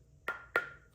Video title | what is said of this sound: The Myth of Sustainability in Woodworking | You tap on it, it sounds like a rock